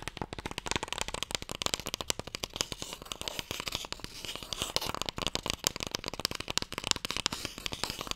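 A closed, long, light, hollow wooden Mikado box is held in both hands while fingertips and nails tap fast on its broad face. A dense, continuous stream of short, dry, bright clicks with little low end and almost no ring follows, centered around 3.7 kHz.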